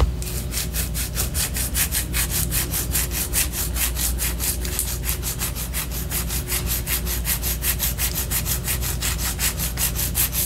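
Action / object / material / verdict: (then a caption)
scrape / wax pillar candle / wax / none. Long orange nails scratch down the side of a white solid wax pillar candle held upright. Quick, evenly spaced raspy strokes carry a bright, papery edge over a steady low hum, continuing at a constant level throughout.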